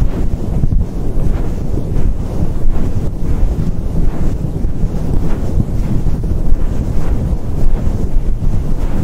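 A fluffy synthetic faux fur microphone windscreen is slowly cupped, stroked and rubbed by fingers and a palm. This produces a continuous, deep, muffled rumble with almost no high end. A few soft swells rise out of the steady brushing.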